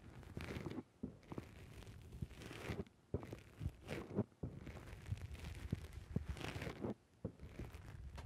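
Fingertips repeatedly press and squish a black foam dome windscreen on a microphone. The result is a dense, low, muffled crunching and crinkling rustle with a few short silent pauses between bursts of squeezing.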